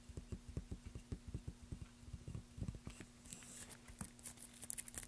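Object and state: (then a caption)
Balsa wood block. A long, solid, light-coloured balsa wood plank with a small label lies on a black surface and is tapped with the fingertips and short nails of both hands. A quick, irregular run of soft, dull, low thuds dies away instantly. Toward the end, brighter, crisper nail clicks join in.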